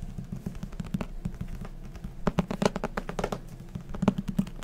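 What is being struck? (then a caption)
Paperback book with paper cover. A thick white paperback manga or book with a paper cover and a solid block of pages is held in hand and tapped quickly with fingertips and nails on the cover and page edges. The result is a rapid run of soft, dull, short taps with no ring, centered low around 200 Hz, with a few louder taps standing out.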